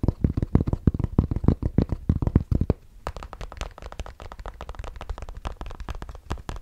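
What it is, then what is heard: Fabric cap, scratched and tapped. A grey Bass Pro Shops fabric trucker cap with a stiff fabric crown and a patch is scratched and tapped with the fingertips close to the mic. For the first three seconds, dense, loud, muffled thumps land heavy in the low end. Then the sound drops to quieter, quicker, drier scratching and tapping over a steady low hum.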